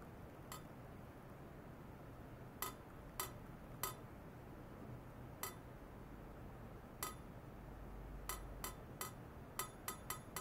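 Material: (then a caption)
Stainless steel. A long, hollow stainless steel pipe, roughly 40–50 cm, resting on white foam net sleeves on a lab bench, is tapped by hand with a thin metal rod, with an ultrasonic oscillator setup attached by wires. Thirteen sharp, bright metallic clinks ring briefly around 1.3 kHz, spaced irregularly and clustering toward the end. A steady low hum and faint background noise run underneath.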